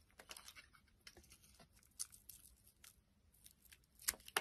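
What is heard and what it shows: A utility knife blade shaves and peels the red outer layer off a solid rectangular dark red soap bar with an embossed logo, held in the hand, exposing its tan interior. Quiet, bright, crisp scraping and crackling strokes come in irregular bursts, with a few sharper, louder cuts near the end.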